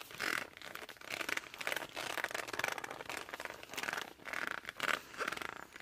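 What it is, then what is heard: Laminated cardboard board book. Fingertips and thumbs press and grip the top edge and cover of a glossy laminated cardboard board book held flat. They make a run of squeaky rubbing bursts with a squeal near 1.5 kHz and a bright, scratchy texture. There is almost no low end.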